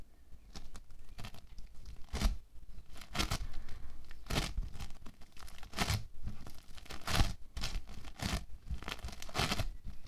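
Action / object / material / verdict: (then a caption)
scrape / bead foam clay / foam beads / none. Both hands press, knead and tear a large loose mass of orange bead foam clay (playfoam) on a white table, using fingertips and palms. Dense crackling, crunchy tearing bursts come in clustered surges over a steady low rumble, with brief bright peaks when the clay is pulled apart.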